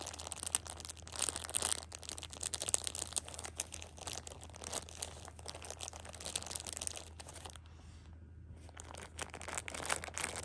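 A hand squeezes the edges of a plastic-wrapped six-pack of pocket tissues, crinkling the film. The result is dense, bright, crackling bursts, with a steady low hum underneath and a brief quieter pause near the end.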